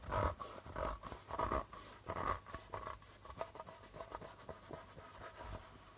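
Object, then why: Darbuka drum with plastic drumhead. Fingers rub and tap the white plastic membrane of a hollow darbuka drum. Soft, scratchy rubbing swells mix with light taps that give a low thump and a hollow mid-range tone. The strokes are loudest early on and get quieter and lighter toward the end.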